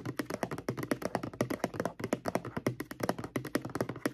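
Long acrylic nails tap rapidly and irregularly on the front label of a mid-sized, apparently full white plastic Crest mouthwash bottle. About 33 short, dry clicking taps are heard, each with a hollow low-mid thunk and almost no ring.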